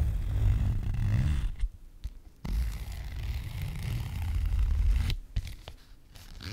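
A flat, frosted translucent plastic Sephora zip pouch with a black zipper, apparently empty, is handled by hand as its zipper is pulled open and closed. The result is dense, low, rough scraping and rustling that breaks into two quieter stretches with a few sharp clicks before the scraping resumes.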